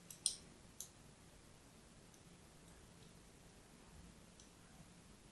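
A solid, palm-sized bar of orange-and-white striped soap is held flat in the hand and scored with a thin metal needle or blade in short scratching cuts. A few sharp, bright clicks come early, the strongest near the start, then the rest fades into faint, quiet scratching over low background hiss.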